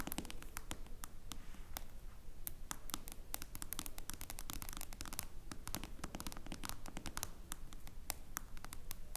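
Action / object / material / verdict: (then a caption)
tap / smartphone with glass screen and metal frame / glass / none. Long blue nails tap and scratch fast on the glass screen of a smartphone with a metal frame, lying flat on a wooden table. It makes a dense, uneven stream of sharp, bright clicks and short scrapes over a steady low rumble. Each tap dies away almost instantly.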